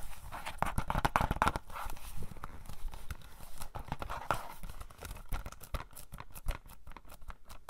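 Pink fingernails quickly tap the front cover of a hollow plastic DVD case for *Cabin Fever*. The taps land in rapid, uneven bursts of short, dry clicks with a hollow low knock beneath and a faint midrange tone near 1 kHz. Each tap dies away almost instantly.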